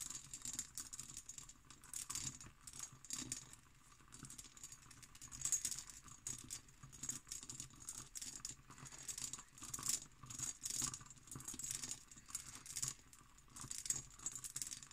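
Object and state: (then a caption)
Cut glass decanter. An empty textured cut glass decanter with its stopper is scratched and tapped on its hobnail body with long green nails. Quiet, rapid, bright clicks and scraping patter run throughout, with short glassy pings.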